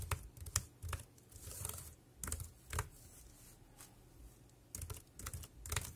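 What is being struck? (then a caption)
Plastic computer keyboard. Fingertips type rapidly on the round keys of a dark grey plastic wireless keyboard. Short, dry clicks with a low thud and a bright clatter come in irregular bursts, with a quieter pause in the middle of the clip.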